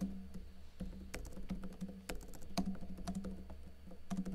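Fingertips with short blue-painted nails tap rapidly on a backlit plastic laptop keyboard with hollow keycaps. Quick, hollow clicks come in uneven bursts, some with bright sharp edges, over a steady low hum.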